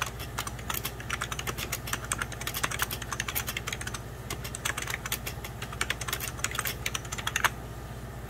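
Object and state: Plastic computer keyboard.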